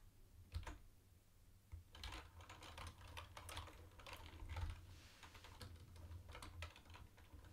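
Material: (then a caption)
Plastic. Fingertips type on a mint-green plastic retro keyboard with round white plastic keycaps, first with both hands, then with one. Quick, bright plastic clicks come in irregular bursts over a steady low hum near 80 Hz, with a few louder key strikes standing out.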